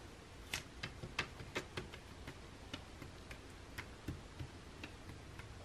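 Fingertips and nails tap and scratch the glossy paper of an open catalog lying on a table, turned to a perfume page. About twelve quiet, crisp ticks with bright edges sound over a soft low hiss, each dying away almost instantly.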